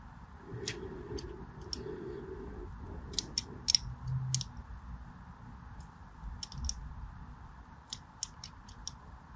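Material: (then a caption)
Soap. A small blade scratches a crosshatch pattern into the surface of a solid purple-and-white striped soap bar held in one hand. It makes a series of short, sharp, bright scraping clicks spaced irregularly over a steady low rumble.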